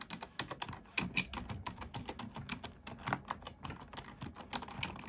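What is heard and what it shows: A black plastic computer keyboard is typed on with both hands, using fingertips and nails. A rapid, steady stream of sharp, bright key clicks and clacks is heard, each one short and dry with a light low thump underneath.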